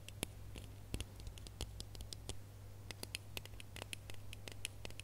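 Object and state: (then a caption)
Ribbed plastic Christmas bauble. Fingernails scratch and tap the ridges of a small, red, ribbed, hollow plastic Christmas bauble held in both hands. The result is a quick, irregular run of sharp, bright clicks and short scratchy strokes, each dying away at once, over a quiet, steady low hum.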